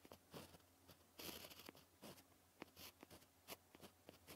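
A white gel pen writes on a black paper sheet, scratching across it. Short bright scrapes and taps rise and fall over a faint low hum. A denser burst of scratching comes about a second in.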